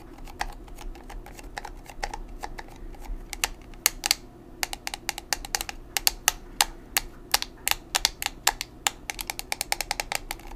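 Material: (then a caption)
Plastic. Long nails tap quickly on a small square black plastic pressed-powder compact, a Maybelline Fit Me, its hollow case holding powder. Dozens of sharp, bright, dry clicks come in an uneven rhythm, each dying away almost at once. A faint low hum sits underneath.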